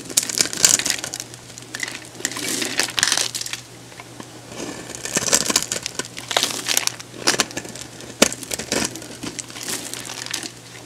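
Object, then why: Bar of soap. A hand-sized, solid blue oval bar of soap held in the hand is scored and shaved with a metal box-cutter blade, sending crunchy curls and cubes of soap falling off. The sound is a bright, dry crunching and crinkling in bursts of rapid scraping with short pauses between. A faint steady low hum sits underneath.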